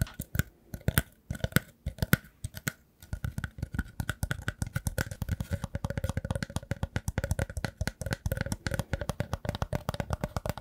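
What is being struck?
Woven rattan basket.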